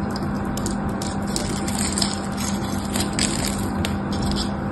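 A small metal knife cuts a crosshatch into a solid mauve bar of soap with a textured pattern, held in the hand, so chips flake off. Dry, crisp scratching and bright little ticks run steadily throughout over a constant low hum.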